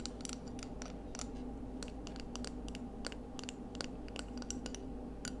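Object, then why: Scallop seashell. A small, hollow, ridged pale scallop shell held in both hands is tapped and scratched with long acrylic nails. Quick, sharp, bright clicks and light scratches are scattered irregularly over a steady low hum. Each tap dies away almost at once, staying quiet throughout.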